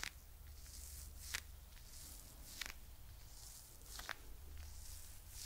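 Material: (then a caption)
Faux fur. A soft, hand-sized mint green fluffy faux fur pouch with a "Chill Pill" patch is held close to the mic and scratched and rubbed with long nails. The result is a quiet, airy brushing hiss over a low rumble, with several brief bright scratch accents standing out.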